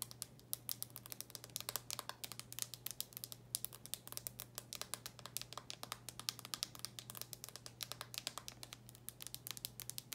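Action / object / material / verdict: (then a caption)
tap / plastic handheld game console / plastic / none. Long nails rapidly tap and scratch the top of a small, closed, black plastic handheld game console. The result is a quiet, dense stream of sharp, bright clicks and scrapes with almost no ring, over a steady low hum.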